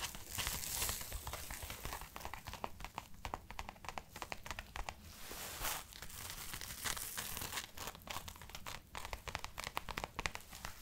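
Long manicured nails scratch and rub the sleeve of a worn camo-print padded winter jacket with a crinkly synthetic nylon shell. Dense crinkling and rustling carry sharp, bright scratchy ticks over a faint low rumble throughout.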